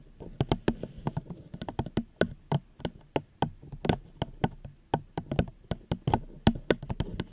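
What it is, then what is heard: Plastic cup. Gentle tapping on a plastic cup close to the microphone produces around thirty short, dry taps in an uneven rhythm. Each tap has a soft, hollow low body with a brief bright click and dies away almost at once, with quiet pauses between.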